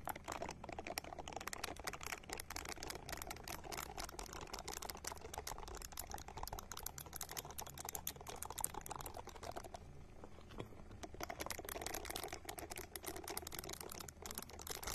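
A small hand-sized purple silicone ball is held close and scratched with long nails. The result is a dense, continuous patter of quick, dry clicks and scratches. The sound is bright and crisp, has a steady low hum beneath it, and eases briefly near the middle.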